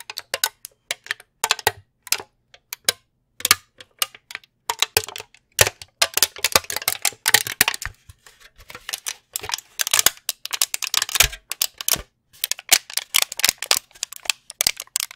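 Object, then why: Plastic candy tray. A long brown plastic candy tray with cavities is held in front of a microphone and tapped with fingernails. The sound is a rapid, uneven patter of dozens of sharp, bright plastic clicks in dense bursts, each dying away almost instantly, with almost no low end.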